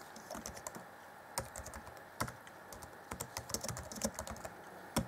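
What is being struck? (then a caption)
Plastic chiclet laptop keyboard. Fingertips type on the black plastic chiclet keyboard of an Acer Chromebook C20 (2014), set in a grey deck. Short, dry key taps come in an irregular run, with a few louder clacks standing out, each dying away almost at once. A faint steady hiss sits underneath.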